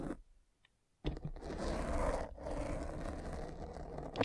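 A derma roller with tiny metal spikes, held by a hand with long red nails, is rolled and pressed into a black foam windscreen over a microphone. After a brief faint rustle and a second of near silence, a dense, continuous crunchy scraping starts, heavy in the low and mid range, with a small dip partway through before it carries on to the end.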